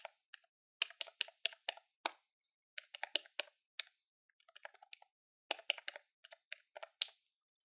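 A grey, hollow plastic desktop calculator is held in the hand while fingertips with nails press its keys rapidly. About two dozen sharp, dry, bright clicks come in quick bursts, with a quieter run of lighter taps in the middle. Each click dies almost instantly, with no low-end body.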